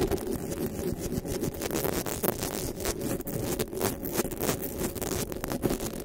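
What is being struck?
Metal mesh microphone grille.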